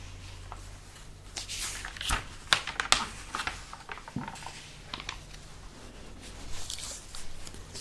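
Fingertips and a palm rub and trace over the printed pages of an open, thin, many-paged glossy paper magazine lying flat, then flip its pages. Soft, bright swishes and crinkles rise and fall over a low steady hum, with a few sharper papery snaps from the page flips near the middle of the clip.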